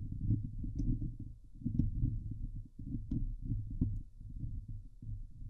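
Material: Steel mesh.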